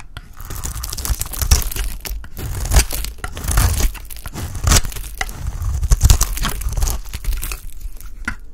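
A solid, dry orange oval bar of Absolut soap, held in the hand, is shaved into curls with a utility knife blade. Dense, crisp scraping and crackling runs throughout, with repeated louder crunchy bursts carrying bright, tearing edges over a deep low-end thump.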